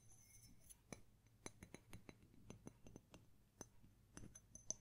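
Fingernails and fingertips tap and clink on the rim and body of a small, hollow white ceramic mug with a printed label as it is turned in the hands. The result is a quiet series of sharp, bright clinks that die away almost instantly over a low, steady background hum.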